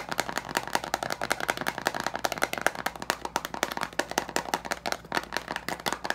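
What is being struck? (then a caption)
Plastic screw lid on a glass jar. Fingertips and nails quickly tap and scratch the teal plastic screw lid of a large glass jar with leaves inside. The result is a rapid, dense run of dozens of dry, clicky taps mixed with scratching, centered around 1.6 kHz with bright edges. Each hit dies almost instantly, with almost no low end.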